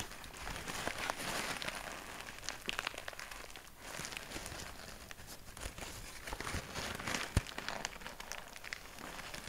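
A large sheet of grey kraft packing paper is crumpled and rubbed between both hands, producing a continuous, bright crinkling and crackling texture. Sharp snaps and crunches stand out now and then, with the loudest crack near the seven-second mark.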